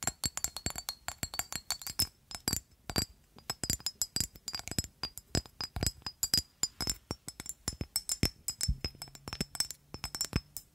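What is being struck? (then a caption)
Glass perfume bottle. Long acrylic nails rapidly tap and scratch a rectangular amber-orange engraved glass perfume bottle with a black cap, hollow and partly filled with liquid. Dozens of short, bright clinks follow one another, each dying away almost at once over a faint, steady high ring from the glass.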